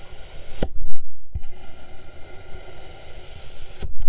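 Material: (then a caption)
Sand. A metal kitchen knife slices thin discs off a solid green, hand-sized kinetic sand cylinder lying on a blue surface, making soft, grainy rubbing and scraping passes through the sand. Three sharper cuts stand out against a steady, low, muffled rasp.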